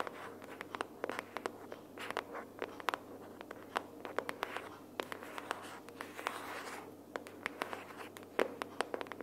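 Long purple nails tap and scratch the cover of a closed pink printed cardboard sticky-notes box held upright in both hands. Quick, sharp, dry taps click over a soft, continuous scratchy rustle, each tap dying away at once with no ring.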